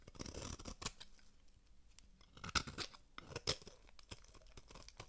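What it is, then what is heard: Dry soap bar being scraped. A metal blade scrapes and carves flakes from the face of a solid, dry, oval red-pink bar of soap held in one hand. Crisp, bright rasping scrapes come first, then a quieter stretch, followed by sharp, crunchy cuts that snap off with almost no ring.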